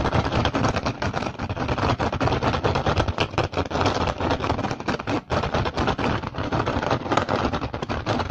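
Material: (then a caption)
Rattan. Fingertips and short nails rapidly tap and scratch an upturned, hollow, empty woven rattan basket. The result is a dense, continuous stream of dry, crackly clicks and scrapes with very short decay, holding a steady level through the clip except for a brief dip just past five seconds.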